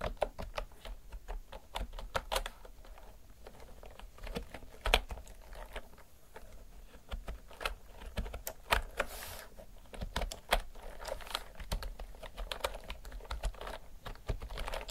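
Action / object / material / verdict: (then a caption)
tap / mechanical keyboard with round plastic keycaps / plastic / none. Fingertips and long nails type continuously on a retro mechanical typewriter-style keyboard with round pink and white plastic keycaps. The result is a steady, irregular patter of short, sharp plastic clicks and clacks, with occasional louder strikes over a low background rumble.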